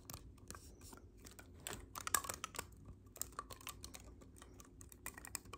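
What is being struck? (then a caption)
Clarinet with metal keys. Fingers tap and press the silver metal keys on a black clarinet held upright, its body hollow. The result is a quiet, irregular run of sharp, dry clicks and soft clacks with bright edges and very little ring, over a low, steady background hum.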